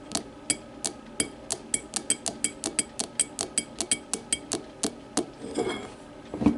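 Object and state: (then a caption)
Glass whiskey tumbler. Long matte nails tap a small, empty, clear glass whiskey tumbler lying on its side, striking its thick base and sides. A steady run of short, bright clinks with quick decay is followed by a brief scratching rasp across the glass. More scrapes close the clip.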